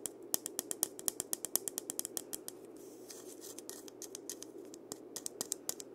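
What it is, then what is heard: Dried-gourd maraca tapped and scratched with fingernails. Fingertips and nails tap and scratch the round body of a single hollow, painted dried-gourd maraca with a parrot design, held close to the recorder. A quick run of short, crisp, bright clicks rides over a soft, steady hiss. Around the middle the taps give way to a brief stretch of gentle scratching before the clicking resumes.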